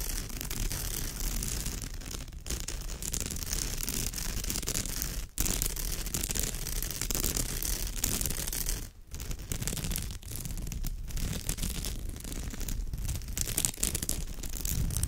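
Long nails scratch across the woven surface of a straw bag in a steady, dense rasp of rustling, scraping texture. The sound is strong in low rumble yet carries a bright, hissy edge, and it breaks off in a few brief pauses before resuming.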